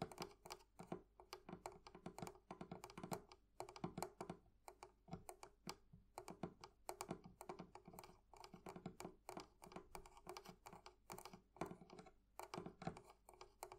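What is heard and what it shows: The metal fittings of a wooden thrift-shop barrel chest are tapped with fingernails and fingertips. Rapid, dense clicking taps continue throughout, each short and dry with almost no ring. The sound is a soft, steady patter with a faint tonal knock in the low mids.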